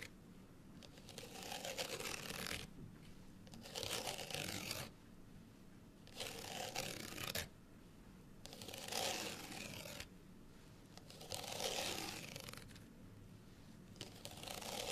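A small folded, printed paper card hang tag is held upright while long fingernails on both hands scratch its outer faces. The result is bright, dry, rustling scratches in bursts of a second or two, separated by quieter pauses with faint low hum.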